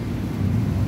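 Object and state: Nothing is struck.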